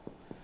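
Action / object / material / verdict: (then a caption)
tap / crusty bread loaf / bread crust / baked through. Two soft, hollow knocks from tapping a freshly baked loaf of Beaujolais wine bread with walnuts and sausage, just out of the oven. Each tap is a brief, low, muffled thud with a short decay. The loaf sounds right, a sign it is properly baked through.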